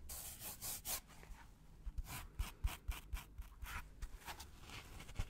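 Gloved fingers scratch and rub a white polystyrene foam packaging block with two oval recesses, held close to the mic. Dry, bright scraping swishes come in uneven bursts at roughly four strokes per second, each with a soft low thump underneath. The sound is quiet and close, and each stroke stops short with almost no ring.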